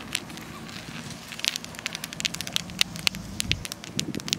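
A granite stone in a park by a lake is tapped, likely with long nails, for ASMR. Quick, bright, crackly clicks patter irregularly over a steady low outdoor background hum.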